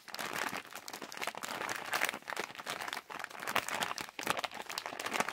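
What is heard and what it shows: A hand-sized yellow Halls plastic cough drop bag with wrapped drops inside is held in both hands while fingertips squeeze, crumple and scratch the crinkly plastic. The result is a dense, continuous run of crisp, bright crackling and rustling in uneven bursts, with almost no low end and very short decay.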